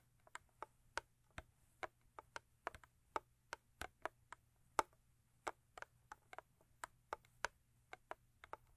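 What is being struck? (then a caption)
Thin cardboard box. Long acrylic nails tap rhythmically on the sides of a thin cardboard Crest toothpaste box, making about 27 quiet, short, dry clicks with almost no ring, at a steady pace over nearly nine seconds. The taps are hollow and papery, centered in the mids around 900 Hz with bright edges, over a faint low hum.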